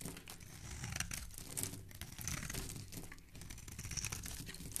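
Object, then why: Bar of soap. A black blade shaves and scrapes a solid, hand-sized pink bar of soap held in the hand, peeling off curled shavings. The result is a dense, continuous crisp scraping and crinkling, bright and papery on top with a soft low rumble beneath, in short overlapping strokes and no clear pauses.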